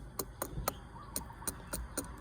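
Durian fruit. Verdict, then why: Unripe. A durian fruit is knocked seven times, each tap a short, dry tick with a brief ring and a mid-range tone around 570 Hz. The fruit is judged not yet ripe.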